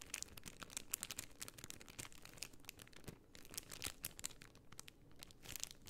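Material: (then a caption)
Plastic. A rectangular sheet of white plastic half-pearl stickers inside a clear plastic bag is held flat in both hands and scratched and crinkled with long painted nails. The result is quiet, steady, bright crinkling and scratching made of many quick, crisp ticks and rustles, with little low-end weight.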